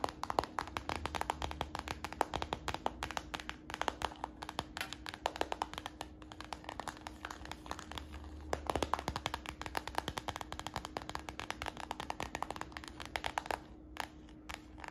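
Fingertips tap quickly on a hollow, empty, translucent brown PVC plastic purse held above a glass table, sometimes possibly brushing the glass. The result is a dense stream of short, dry, crisp clicks with very little ring, over a faint steady hum.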